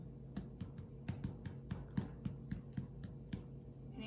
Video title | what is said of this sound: The Best White Bread Recipe Evers | You're meant to tap its bottom. Can you hear? It's hollow.